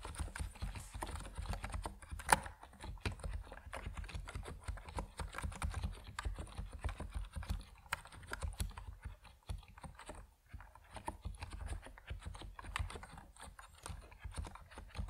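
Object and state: Plastic mechanical keyboard being typed on.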